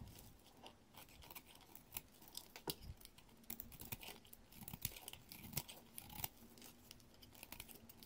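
A dark metal blade shaves the edge of a solid green bar of soap held in the hand, peeling off curled flakes. Quiet, crisp scraping and crackling strokes come in quick irregular bursts, each with a bright, dry edge and almost no ring, over a faint low background.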